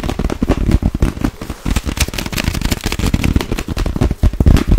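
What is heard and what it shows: Long nails tap fast and hard on a clear, inflated plastic air pillow held between both hands. The result is a dense, crackling stream of short, dry taps with a low, hollow thump and very little ring after each one.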